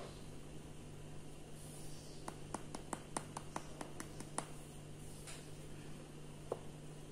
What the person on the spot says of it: Napauttamalla niiden pitäisi kuulostaa ontolta.